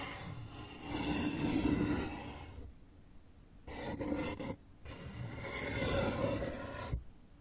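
Fingernails slowly rub and scratch an open, hollow brown corrugated cardboard box, making a rough, rasping scrape. The sound comes in a few broad swells separated by brief silent gaps.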